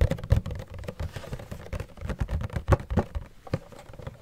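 Fingernails tap and knock on a cardboard Funko Pop box with a clear plastic window and the figure inside. The result is a quick, irregular series of dull, low, thumpy knocks with crisp clicky edges and a faint hollow tone. Each knock stops dead with no ring.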